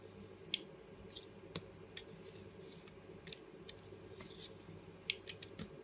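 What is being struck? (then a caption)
Soap bar. A small, solid orange soap bar held between the fingers is cut with a box-cutter blade into long thin strips, making eleven short, bright, crisp slicing scrapes at irregular intervals. The scrapes sit over a faint, steady low hum.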